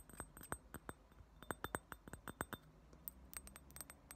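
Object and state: Thick glass ashtray tapped with nails.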